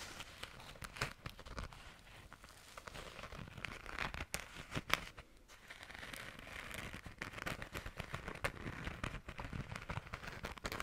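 A small, flat, pink glitter-coated zipper pouch has its glitter scratched and tapped by long nails. The result is a continuous dry, crackly scratching texture with many sharp ticks and brief taps, bright in the upper range. It is quiet overall with a few louder clicks standing out.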